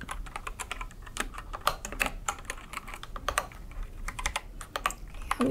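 Long red nails and fingertips type quickly on a white and yellow mechanical keyboard with plastic keycaps resting on a wooden desk. A rapid, uneven run of sharp, bright plastic clicks and clacks is heard, each dying away almost instantly over a faint low background.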